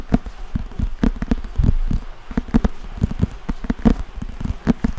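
Fingertips and nails scratch and tap the glossy printed cardboard cover and spine of a thick, solid paperback book held in both hands near the microphone. Rapid, dull, low-pitched taps and soft scratches follow one another with little ring, and the sound has almost no bright content.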